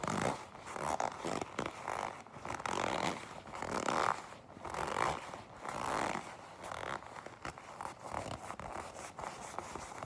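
A black leather jacket is gripped, then tapped and scratched with long pink nails. Soft creaking, rubbing scrapes swell and fade in a loose rhythm, centered in the midrange with a faint bright hiss. Light taps fall in between.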